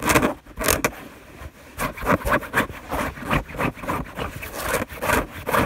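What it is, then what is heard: Fabric bed sheet. Long nails scratch quickly across a white fabric sheet on a bed, making about fourteen short, dry rasping strokes in quick succession. Each scrape is a breathy, broadband brush of friction with a soft low thump underneath, and it fades fast between strokes.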